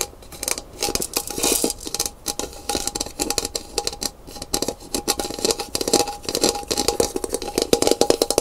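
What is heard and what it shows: Long pink nails rapidly tap and scratch along the thin handle and hollow body of a brown painted gourd maraca lying on its side on a wooden table. The result is a dense stream of crisp, dry clicks and scrapes with a bright, hollow tone around 470 Hz, almost no low end, and a faint rattle between strokes.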